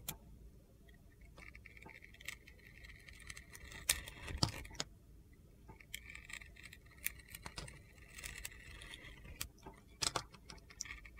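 A steel utility knife scrapes and slices curls off a handheld solid blue glitter soap bar that is partly carved down to white soap. Bright, gritty scraping and crunching run throughout, broken by sharp clicks and taps.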